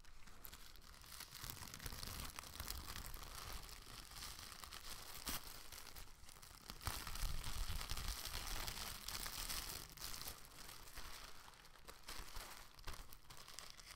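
An empty, thin light-green plastic shopping bag with blue print is held up, crumpled and shaken open by hands. It makes a steady, dense crinkling and rustling with bright crackles over a low rumble. The sound grows louder and busier around the middle of the clip before settling back down.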